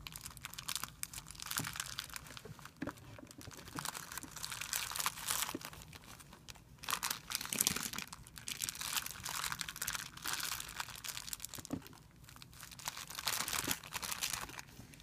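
A thin, clear plastic film bag resting on a white surface is squeezed into a bunch by a hand's fingers, giving a steady run of dense, bright crinkling and crackling. Short, sharp crackles come in close succession throughout, with little low end and almost no ring.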